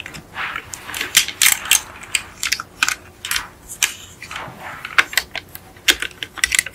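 Long acrylic nails tap on the roof and hood of a small yellow die-cast Beetle model car with a hollow, painted metal body, resting on a fluffy mat. The result is an irregular run of quick, bright, clicky metallic taps with almost no low end and no lingering ring.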